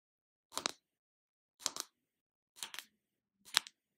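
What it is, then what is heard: Plastic jar lid tapped with nails. Long lavender nails tap and scratch the lid of a small round plastic Body Shop shea body butter tub held in hand. Four short, bright bursts of clicky tapping come about a second apart, each made of two or three quick clicks with scratchy texture and no ring, separated by silence.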